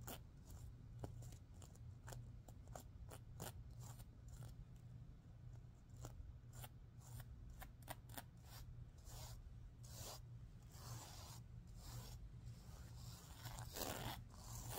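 Hands with long painted nails brush and scratch across a large heart-shaped pillow with a soft stuffed body, covered in reversible teal and green plastic sequins sewn on fabric, flipping the sequins over. The result is a series of quick, bright scratchy clicks and rasping swishes, some longer and hissier toward the end, over a steady low hum.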